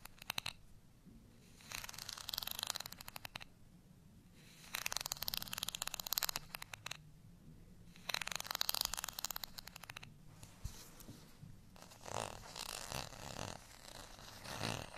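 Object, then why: Ridged plastic rice paddle. Long nails scratch across the ribbed face of a beige, ridged plastic rice spoon, a thin solid paddle. The sound is a bright, rapid ticking rasp in repeated bursts separated by short quiet gaps, ending in softer, uneven rubbing strokes.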